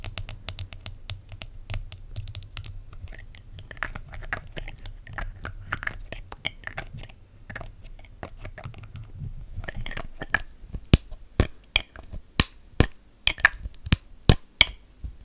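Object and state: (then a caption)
Plastic spray bottle. Long matte black acrylic nails tap and scratch the sides of a small, hollow white plastic skincare spray bottle held up close to the microphone. A dense, rustling run of light scratches and quick clicks fills the first part over a low background hum. It then gives way to sharper, separate hollow plastic taps with a very short ring.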